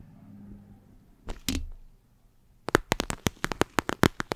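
A flexible clear plastic eye mask filled with gel beads is held close and scratched and squeezed with long acrylic nails. Soft low rustling and two crinkly bursts are followed by a pause, then a quick run of sharp, bright clicks and taps, 16 in all.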